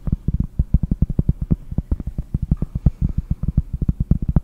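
Long painted nails tap rapidly on a large, round, solid cork trivet held in both hands. The result is a fast, uneven run of deep, dull thuds that stop dead with no ring and almost nothing bright above them.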